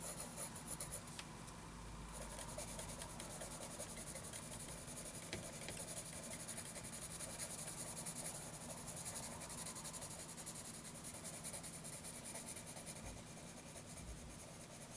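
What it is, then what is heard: Pencil shading on a notebook page. A graphite pencil rubs and shades across a lined paper notebook page with repeated back-and-forth strokes. It makes a continuous scratchy, raspy sound with a bright hiss over a faint steady low hum, and the level stays even throughout.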